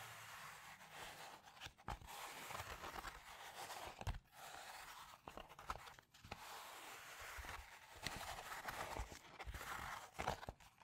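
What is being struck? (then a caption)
Plastic bubble-padded mailer. Fingertips and nails tap and scratch across the white, bubble-textured padded inner side of a holographic plastic bubble mailer. The result is a steady, soft crinkly scraping centered in the midrange with some bright edge, broken by brief pauses and occasional light taps.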